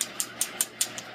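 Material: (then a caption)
Agate. Seven quick, evenly spaced taps on a freshly cut piece of agate from a small rock-hound nodule give short, bright, glassy clicks that die away almost at once. The glassy sound marks the stone as hard material that takes a beautiful polish.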